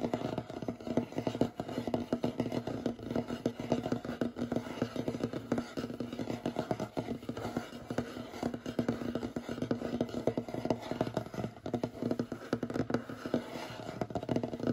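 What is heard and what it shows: Short fingernails rapidly tap and scratch across the large, solid, light wooden surface of a table. The result is a dense, continuous stream of dry, clicky taps with very short decay over soft scraping, centered in the low-mid range around 240 Hz with little bright content.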